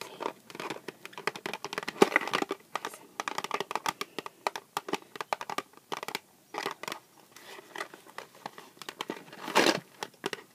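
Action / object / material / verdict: tap / small cardboard box / cardboard / none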